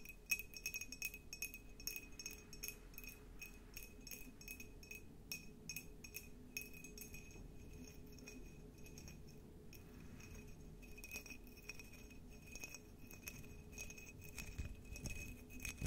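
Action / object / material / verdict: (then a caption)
tap / cut glass jar / glass / none. A tall, clear, hollow, empty cut glass jar with a diamond pattern is held in both hands and tapped with long nails. The result is a steady run of quick, light clicks and bright clinks, each with a short glassy ring near 2.5 kHz, over a faint low rumble.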